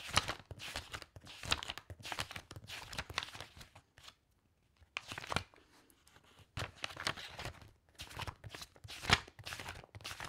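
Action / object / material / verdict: flick / stack of loose paper sheets / paper / none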